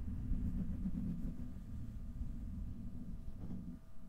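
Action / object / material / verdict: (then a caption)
scrape / steel wire-mesh microphone grille / steel mesh / none. Fingertips and nails of both hands scratch and rub the hollow, domed steel wire-mesh grille of a large desktop microphone. The result is a steady, muffled, low rumbling scrape with almost no high content, swelling and easing slightly over about four seconds.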